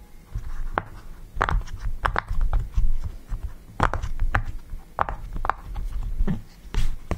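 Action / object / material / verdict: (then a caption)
tap / silicone push-pop fidget toy / silicone / none. Fingertips press and pop the bubbles of a yellow round silicone push-pop fidget toy resting on a table. A quick, uneven series of soft, dull pops and short bright clicks sounds out, each dying away almost at once over a low, muffled background.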